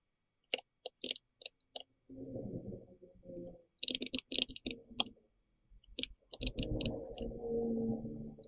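Fingertips of both hands tap continuously on a pink-red compact plastic mechanical keyboard with round plastic keycaps. The result is a run of sharp, bright, quickly decaying clicks, some spaced apart and others in quick bursts. A steady low, muffled rumble runs beneath the typing for stretches in the middle and at the end.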